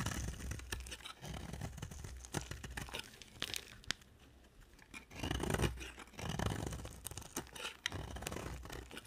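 A utility knife blade carves a solid oval yellow bar of dry soap, and the shavings fall onto the table. Dry scraping and tearing strokes come in dense crackly bursts, with a low rumbly body. The sound briefly drops to near quiet midway before the carving resumes.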